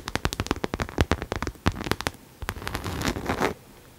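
Long nails tap and scratch the side and front of a hollow pink cherry-print coated canvas Coach crossbody bag held upright. A quick run of sharp, crisp clicks with a low hollow thump fills the first two seconds. A steadier, brighter scratching follows before it stops just past three and a half seconds.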